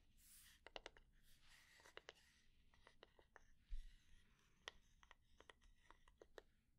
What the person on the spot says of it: slow and medium tapping, scratching